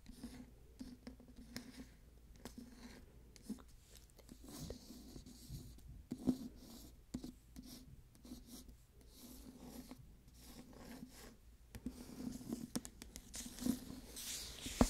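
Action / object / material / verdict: scrape / hardcover book with glossy paper dust jacket / paper / none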